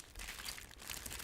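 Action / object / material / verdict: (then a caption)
shake / bag of metal bottle caps / metal / full. A bag full of metal bottle caps is shaken and crinkled, making a dense, bright rattle of clinking caps over crackling plastic. The sound stays fairly steady and continuous for just over a second.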